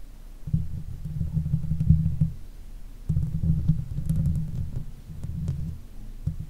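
Long nail tips scratch across the top of the hollow steel mesh grille on a silver Blue Yeti microphone. The result is a deep, muffled rubbing and throbbing, almost entirely low in pitch, that comes in long bursts with brief pauses between them.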